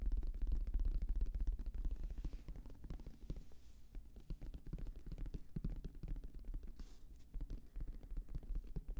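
Fingertips tap rapidly across the surface of a hollow, black, oval, fabric-covered semi-rigid Bose headphone case held by the microphone. The taps come as a dense, uneven patter of deep, muffled thumps with almost no ring, louder at the start and then slightly softer.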